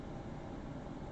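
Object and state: Nothing is struck.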